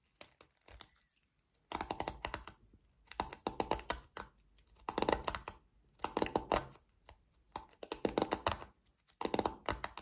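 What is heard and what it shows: Long nails scratch and flick the black plastic pins of a small pink plastic paddle hairbrush. Quick bursts of dense, dry plastic clicking and crackling come in repeated clusters, separated by brief pauses. Each tick is bright and short, with almost no ring.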